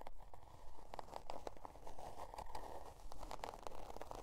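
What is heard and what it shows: Long dark nails scratch the scale-pattern cardboard cover of a spiral-bound notebook resting on faux fur. The result is a fairly steady run of quick, dry, papery scratching strokes, crunchy in the midrange over a soft low rumble, each stroke dying away quickly.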